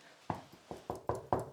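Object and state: Hollow wall plaster.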